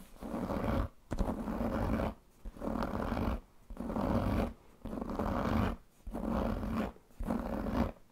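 Fingertips and nails scratch and rub the leather panel of a large black pebbled leather handbag with a metal buckle. Seven rough, rustling bursts of scratching, each about a second long and heaviest in the low end, are separated by brief quiet gaps.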